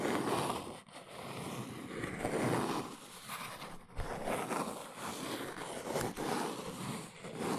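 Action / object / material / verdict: scrape / small cardboard box / cardboard / none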